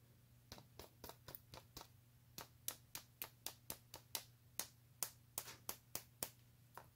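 A small Kinder Surprise egg in its foil wrapper, covered with glued-on blue and silver plastic rhinestones and apparently solid with the chocolate egg inside, is held in the fingers and tapped and scratched across its gem surface with long painted fingernails. Twenty-one short, bright, crisp clicks sound one after another with almost no ring, over a quiet, steady low hum.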